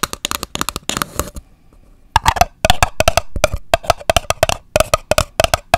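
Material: Paper.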